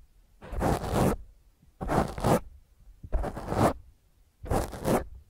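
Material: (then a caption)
Foam. Long fingernails scratch fast across a black foam microphone windscreen held in one hand, making four separate bursts of rough, crackling scraping. Each burst is heavy in low rumble with a bright hiss on top, and there are brief pauses between them.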